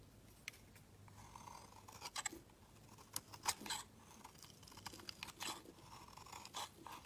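A steel snap-off utility knife blade shaves a solid white round bar of soap into feathery shavings. Quiet, crisp scraping and crunching strokes come in short bursts, bright and dry with almost no ring.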